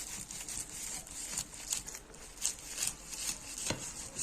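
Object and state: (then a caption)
Crispy, well-baked layered pastry. A knife cuts through freshly baked, layered katmer pastry that separates into thin strands, making a string of dry, bright crackles and crunches. The crisp sound confirms the pastry is well baked and crispy.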